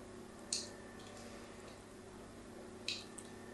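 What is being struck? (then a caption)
Solid bar soap. A solid pink bar of soap held in the hand is scratched with a metal tool in diagonal lines. Two short, bright scraping strokes stand out over a steady low hum, each fading quickly.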